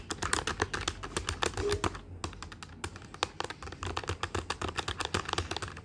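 Fingertips of both hands type rapidly on the plastic keys of a black plastic desktop calculator with a hollow body. The result is a fast, uneven stream of short, dry, clicky taps with a bright edge, with brief pauses between bursts.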